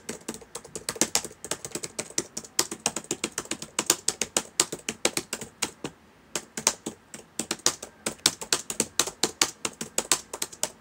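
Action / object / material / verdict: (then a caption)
tap / plastic laptop keyboard keys / plastic / none. Fingertips of both hands type quickly on the plastic keys of a black laptop keyboard, producing about 67 sharp, bright clicks that die away almost instantly. The keystrokes come in fast bursts with a brief pause near the middle, and there is almost no low-end thump.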